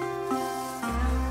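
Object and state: Nothing is struck.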